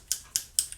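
A LipSense liquid lip color tube is shaken before application, giving four sharp, bright clicks from something moving inside the liquid. Each click is very short and dry, with almost no low end. The clicking is the expected sound of a tube that can be shaken properly.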